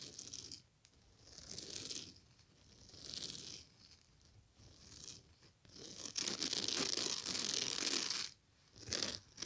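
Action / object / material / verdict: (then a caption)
scrape / woven straw bag / straw / none. Long nails scratch and rake across the surface of a large striped woven straw or raffia bag lying flat. Bright, dry rasping and crinkling strokes come in waves, with quieter gaps between them. The longest and loudest rake runs near the end before a final short burst.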